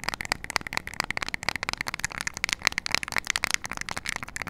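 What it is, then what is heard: Plastic remote control. Long nails rapidly tap and scratch the rubber buttons of a small flat plastic IR LED remote control held close to the mic. It makes a dense run of dry, bright clicks and scrapes, each dying away almost at once, with a recurring tone around 2.2 kHz.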